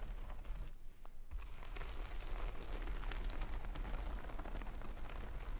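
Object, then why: Jute burlap bag filled with rice. Long fingernails on both hands scratch and tap a full jute burlap bag of rice lying on a table, making a dense, continuous rough crackle over a heavy low rumble. The scratching dips briefly near the one-second mark, then returns steady and slightly louder until the end.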